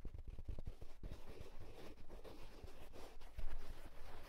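A hand grips and scratches the crown of a hollow houndstooth wool tweed fedora with its fingertips. The result is quiet, rapid, dull fabric scratching and soft thumps, mostly low in tone, with a denser burst of taps at the start.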